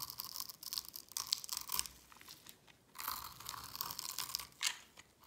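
A metal blade scrapes across a solid, palm-sized oval bar of dry white soap held in the hand, carving cubes and scoring grooves into it. It makes dense, bright, crunchy scraping bursts with a short lull in the middle, then a final sharp crunch before it fades.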